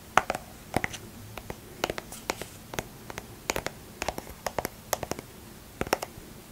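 A small, soft plastic lotion squeeze tube with a cap, hollow and apparently filled, is held in one hand and tapped and scratched with long manicured nails, then handled near the cap. An irregular series of sharp, dry clicks and short scratchy ticks stands out against a quiet background. Each sound dies away almost instantly, with a bright edge and a light hollow tone around 750 Hz.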